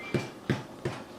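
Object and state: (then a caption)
Baked-through bread loaf, sounds hollow. Taps on the top of a golden-brown loaf of honey buttermilk bread in the oven, checking for doneness. Three distinct, short hollow knocks with a low thump, each dying away quickly, sound out before a fourth begins at the very end. The hollow sound shows the loaf is baked through and ready to come out of the oven.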